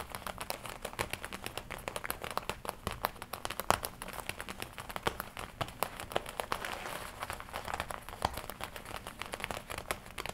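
Long nails tap and scratch the red leather front panel of a worn black and red leather biker jacket, with the panel folded across. Quick, crisp, bright taps come in a dense, uneven stream over a soft crinkling, scratchy rustle, and each tap dies away almost instantly.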